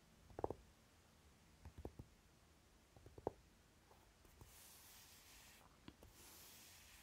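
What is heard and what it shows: Short nails tap and scratch the lid of a closed Naked eyeshadow palette with a dark velvety cover, making soft, quiet taps with brief scratchy bursts spaced irregularly. Toward the end the hands move quickly, producing a faint, airy brushing hiss.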